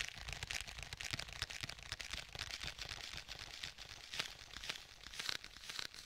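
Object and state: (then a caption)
Faux leather tablet case. Fingertips tap and press on the cover of a black stitched faux leather tablet case held to the side of a microphone, with sticky contact. The result is a steady run of quiet, dry, crisp taps, about two per second, with bright crackly peeling sounds between them and no ring.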